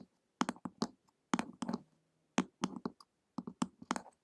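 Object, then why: Hardcover book with glossy cover. Long acrylic nails tap the glossy printed cover of a flat, solid hardcover book lying on a table, in a ticking rhythm. Short, dry clicks with a low body and bright tips come in quick clusters separated by brief silences, each dying away almost instantly.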